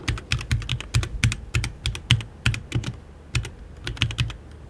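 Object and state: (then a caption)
Mechanical keyboard with plastic keycaps. Fingertips type continuously on a compact RGB HyperX Alloy Origins 60 mechanical keyboard with plastic keycaps, an aluminium case and Red switches, while the mouse beside it stays untouched. The keystrokes land in a quick, uneven rhythm, each a short clack with a deep thock in the body and bright clicky tops that die away almost instantly.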